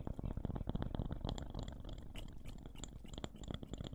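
A small, round, solid wooden slice or coaster engraved with a name is held in both hands close to the microphones and tapped and scratched with fingertips and nails. Quick, uneven, soft, dull thumps with a deep low body run together throughout, overlaid with faint, bright scratchy clicks from the nails. Each tap dies away almost instantly, with no ring.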